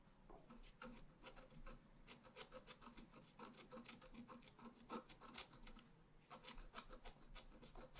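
A pointed wooden stylus scratches across a flat, solid, black-coated scratch-art paper card lying on a table. A quick run of dry, raspy scratching strokes, each a short rubbing scrape with a faint low body and brighter gritty edges, with a brief pause near the six-second mark before the strokes resume.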